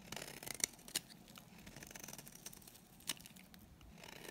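A solid, dry green soap bar held in the hand has its edge shaved with a utility knife blade. The result is a quiet, steady, bright scraping with a few sharper, crisp cuts standing out.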